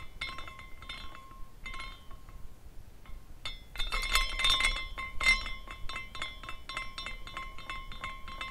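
A small glass carousel figurine is spun by the fingers at its top, and its glass horses swing and clink together in a steady, bright glass tinkling. Short, quickly fading clinks ring around 1 and 2 kHz over a soft low rumble. The clinking grows denser and louder near the middle before settling back to lighter tinkles.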